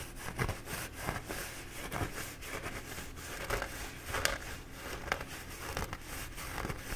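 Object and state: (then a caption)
Paper towel roll being scratched. A bee-printed paper towel roll is held in both hands while fingertips and nails scratch its embossed paper. About ten soft, irregular scratchy crinkles rise over a steady dry rustle, each with a brief bright edge.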